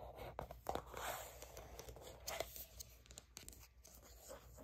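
Long nails scratch along the front of a soft plastic Aveeno Baby sunscreen squeeze tube that appears filled. The result is a quiet run of irregular, dry scratching and crinkling strokes with bright edges, over a faint low hum.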